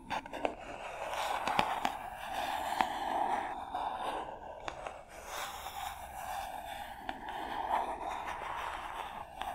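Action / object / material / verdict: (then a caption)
scrape / small printed cardboard box / cardboard / none. Long nails tap and scratch the sides of a small, hollow white printed cardboard box labeled SPARV, held in front of the microphones. A steady, papery scraping with a hollow midrange tone of around 850 Hz runs throughout, broken by occasional sharper taps.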